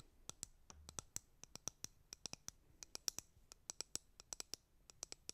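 Fingernails tap the back of a white plastic hairbrush and scratch across its bristles. About thirty quiet, sharp, bright clicks come in an uneven rhythm, each dying away instantly with almost no low end.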